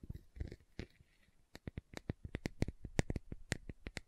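Long nails scratch and tap the lid and side of a large round green plastic aloe vera gel jar. Soft, scratchy rustling for the first second and a half gives way to a quick, uneven run of short, dry plastic taps with little ring.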